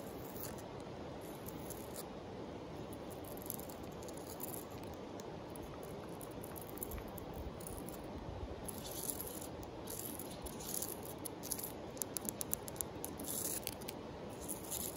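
A palm-sized, solid, flat oval rock with a grainy sandstone-like surface, propped upright among other rocks outdoors, is scratched and tapped on its face with long acrylic nails. A steady, soft granular scratching hiss runs throughout, with faint high, dry clicks from the taps growing denser toward the end.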